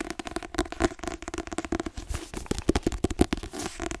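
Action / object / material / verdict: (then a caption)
tap / paperback book with glossy card cover / card / none. Fingertips and nails tap rapidly on the glossy card cover and spine of a white paperback book. The result is a quick, uneven run of dull, dry taps with a low-mid knock, each dying away almost instantly, mixed with faint crinkly clicks.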